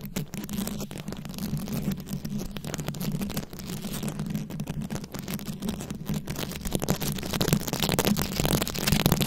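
Very long acrylic nails tap and scratch a round, fist-sized microphone head covered in plastic rhinestones and beads. The result is a dense, continuous crackle of fast scratches and clicks over a steady low hum, growing slightly louder and brighter toward the end.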